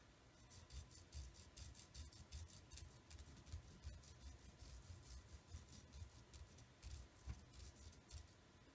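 Fingertips and nails of the right hand scratch and pick at the green and black nylon paracord wrapped around the handle of a fixed-blade knife with a metal blade, held in the left hand. Soft, irregular low thumps mix with bright, dry rasping scratches, all very quiet and close.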